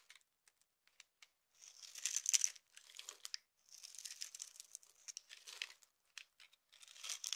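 A utility knife with an orange handle shaves and scrapes flakes off a dry, hand-sized solid yellow soap bar, still partly in a gold wrapper at first, held in one hand. Faint, sparse ticks give way to bursts of bright, crisp, crinkly scraping with no low end. Each burst cuts off quickly with almost no ring.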